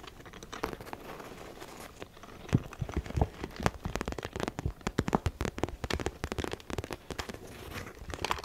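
A small zippered holographic makeup bag with a shiny iridescent plastic surface printed with snowflakes, soft-sided and apparently empty, is held in one hand and tapped and scratched with long painted acrylic nails. Quick crinkly taps and scratches come in an uneven, pattering stream, with a few sharper, louder clicks standing out.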